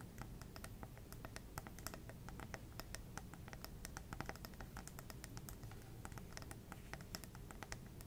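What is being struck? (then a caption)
Glass plasma ball globe. Long red nails tap quickly on a small lit plasma ball, a hollow glass globe on a black base. A rapid, irregular stream of light, bright clicking taps, each dying away almost at once, runs over a steady low hum throughout.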